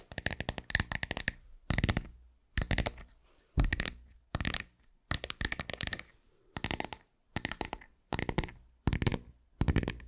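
Long white nails scratch and tap across a round, solid wooden tree slice held up close. About a dozen short bursts of quick, dry clicks and scraping taps come in rapid clusters separated by brief pauses. Each has a soft low thud under a bright, crackly edge that stops at once without ringing.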